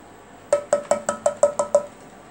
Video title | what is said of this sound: how does a CRT/ cathode ray tube work? | whenever i tap on it you can hear how thick those glasses it's